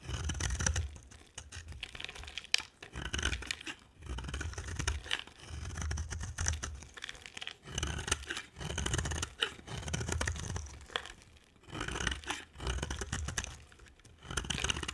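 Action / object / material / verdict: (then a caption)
scrape / bar of soap scraped with a blade / soap / none. A utility knife blade scrapes and carves thin shavings off a dry, solid rectangular white soap bar with red-orange edges, held in one hand with long dark nails visible. Repeated crisp, crackly scraping strokes come in bursts, each with a dry, bright shaving texture over a soft low rumble, separated by brief quiet pauses.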